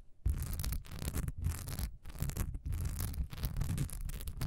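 Long nails scratch fast across a solid cream wax pillar candle with a honeycomb, diamond-textured surface, standing upright. The sound is a dense, rapid raspy scratching in quick bursts separated by brief pauses, with a deep low thrum underneath and a faint bright hiss on top.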